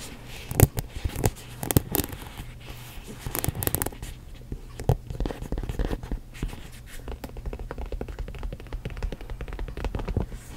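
Long nails tap and scratch the top and front of a hollow black quilted leather Michael Kors mini backpack resting close in front of the microphone. The result is a steady run of soft, quick taps and scratchy rubs, dull and low with little ring, with a few sharper louder taps near the start.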